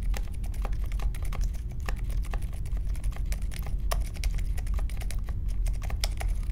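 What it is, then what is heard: Mechanical keyboard being typed on. Slow fingertip typing on a compact Polaris mechanical keyboard with Silent Alpaca switches, a metal case and plastic keycaps, resting on a marble desk. Soft, muted key taps patter steadily over a low, dull thud.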